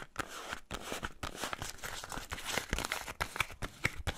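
Fingernails scratch and tap a small printed cardboard box holding a bar of soap, held close to the mic. Dry, crinkly scratching runs throughout, broken by sharp, bright taps that stop almost instantly.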